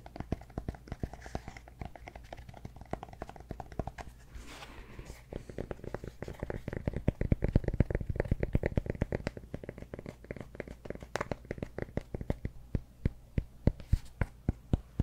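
A cork block is tapped and scratched at close range. A fast, steady stream of short, dull taps and soft scraping carries mostly low, muffled energy, with a brief softer hiss around four to five seconds. The tapping grows denser and louder around seven to nine seconds.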